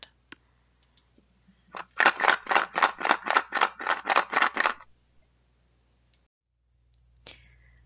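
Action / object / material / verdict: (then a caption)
shake / cardboard box containing seashells / shell / none. A box containing seashells is shaken, about 11 quick, evenly spaced bursts of bright rattling and clattering as the shells tumble against each other and the box. It is done to compare the sound with that of a mystery gift box. A few faint clicks come before and after in an otherwise quiet background.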